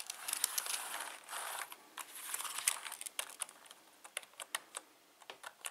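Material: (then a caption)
Plastic. Fingertips type fast across a full-size black plastic membrane keyboard with Cyrillic and Latin key labels and a hollow plastic housing. Bright, dry clicks blur into a dense clatter over the first half, then break into sharp, separate keystrokes with almost no ring.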